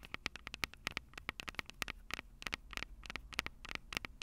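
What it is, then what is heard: Metal microphone capsules tapped with fingernails. Long purple nails tap and lightly scratch the metal microphone capsules on a Tascam DR-05 recorder. The result is a quick, irregular run of sharp, bright clicks with a ringing tone around 2 kHz. They sit over a faint low hum and hiss, and each tap dies away almost instantly.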